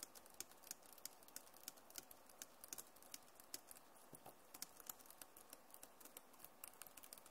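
Both hands type fast with fingertips and nails on a backlit Acer laptop keyboard with plastic keys. The result is a quiet, steady stream of about forty short, bright clicks and taps with almost no ring, over a faint hiss.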